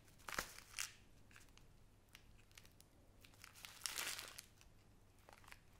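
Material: Plastic, glass.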